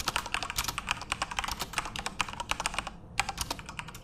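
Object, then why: Plastic mechanical keyboard. Both tattooed hands type rapidly with their fingertips on a full-size, RGB-backlit Corsair mechanical keyboard with plastic keycaps in a dark room. The result is a fast stream of sharp, bright plastic clicks and clacks with very little low end, briefly slowing just before the three-second mark before resuming.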